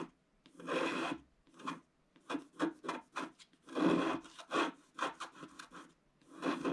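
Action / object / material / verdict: scrape / black-coated scratch-art paper scratched with a wooden stylus / coated paper / none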